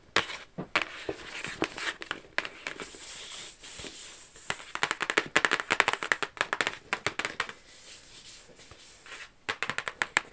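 Long acrylic nails tap and scratch the lid and edges of a medium, flat, rigid black cardboard gift box bearing a Versace logo, which is hollow and closed. Quick bursts of sharp, bright clicks alternate with softer scratchy rasps, with almost no low end. Each tap dies away almost instantly.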